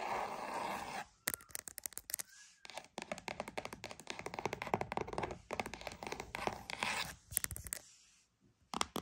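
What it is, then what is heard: Cardboard box. A cardboard box is tapped and scratched with quick, dry strokes. A steady scraping rub opens, then it turns into bursts of dense, crisp ticking with short pauses between. The sound is bright and close, with almost no low end and no ring after each tap.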